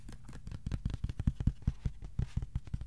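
A thin, flat white cardboard sheet about A4 size is held flat and tapped with the fingertips. It gives a quick, uneven run of about eighteen soft, dull, low thumps, each dying away almost instantly.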